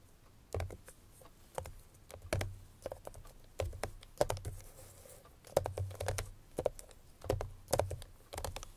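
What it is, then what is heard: Paperboard perfume box. Long fingernails tap on the top face of a small, closed, cream-colored Chloé paperboard perfume box that is hollow, holds a perfume bottle inside and is possibly still in its cellophane wrap. The taps are short, dry and hollow with a low thud, coming in irregular clusters with brief pauses between them.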